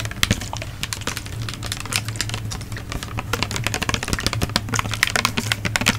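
A medium-size, hollow, yellow-green plastic bottle, like a body wash or lotion bottle, is held in one hand in front of a fluffy microphone cover and tapped rapidly with long acrylic nails. The result is a fast, continuous stream of sharp, bright plastic clicks with very short decay, layered over a steady low hum.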